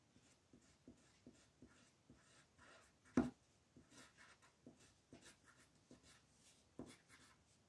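An orange-brown colored pencil rubs and shades a flat paper coloring book page lying on a table in short strokes, while the other hand, with long painted nails, holds the page still. Soft, dry scratchy strokes repeat steadily, and a few sharper taps stand out, the loudest just after three seconds.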